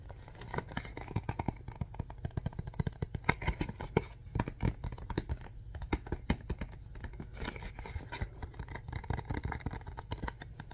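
A hollow printed cardboard Mr. Bean DVD box set is held up in both hands and tapped and scratched with the fingertips. The result is a steady stream of quick, dry taps with a low, boxy thump, mixed with soft scraping and scratching and little high brightness.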